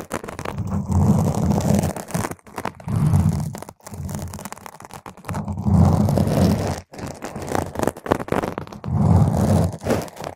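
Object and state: Foam microphone windscreen scratched.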